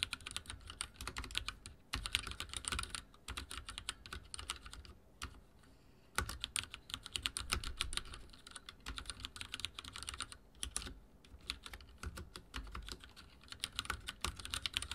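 Fingertips type on a backlit mechanical keyboard with dark plastic keycaps, producing a steady stream of quick, bright clicks and clacks that die away almost instantly. The typing runs in bursts with brief lulls around the fifth and tenth seconds before resuming at the same rapid pace.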